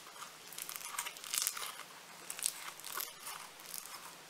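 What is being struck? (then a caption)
Foam-bead clay. Blue floam foam-bead clay is squeezed, then lifted and crumpled in a hand, giving a dense, bright crackling and crinkling with almost no low end. Quick snapping bursts swell and fade in clusters throughout, each dying away almost instantly.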